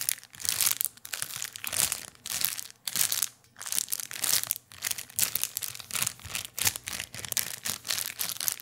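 A small, empty, clear plastic bag is crinkled and rubbed with fingertips close to the microphone. Bright, crackling crinkles come in uneven bursts with brief pauses, and there is almost no low end.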